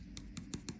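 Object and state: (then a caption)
Cured, hardened UV resin. A tool taps five times on a paper tag coated with UV resin after about 40 seconds under a UV flashlight. Each tap is a short, sharp click over a low background hum, and the hard sound shows the resin has cured.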